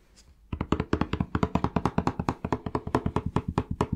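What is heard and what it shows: Fingertips tap rapidly on a plastic Palmolive shower gel bottle, producing about 30 short, dull, hollow taps in a quick, uneven rhythm. After a quiet first half second, the tapping starts and continues steadily to the end, each tap dying away almost instantly with a low, muted body.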